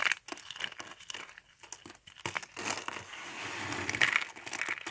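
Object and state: Dry soap flakes.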